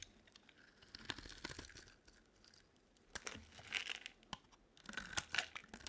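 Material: Soap.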